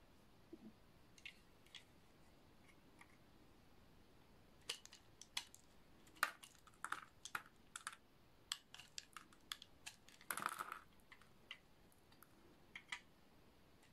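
A snap-off utility knife blade cuts the round bumps off a solid peach rectangular bar of dry soap with a studded surface. Sharp, dry, crunchy clicks and scrapes come in scattered bursts, sparse at first and then denser in the second half, with bright high content and a cluster of heavier crunches near the middle of the second half. The clip is quiet between cuts.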